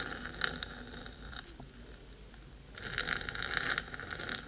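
Long acrylic nails on both hands scratch rapidly across the metal top of a black, hollow, cylindrical 3Dio binaural microphone housing. The result is a bright, crackly rasping centered around 1.4 kHz that thins to a quieter, sparser scratch in the middle. It then swells back into dense, louder scraping toward the end.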